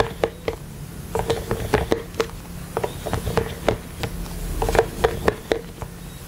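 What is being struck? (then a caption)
Silicone collapsible water bottle. Small plastic toy hands worn on the fingers tap and rub the ribbed sides of a hollow, pastel rainbow collapsible silicone water bottle with a pink cap and carabiner, held close to the mic. A string of quick, dull taps carries a short hollow tone around 450 Hz, with soft rubbing scrapes between them and a faint low hum underneath.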